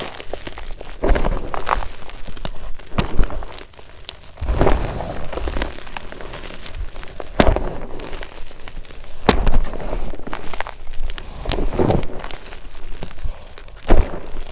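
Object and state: Gym chalk powder being crushed.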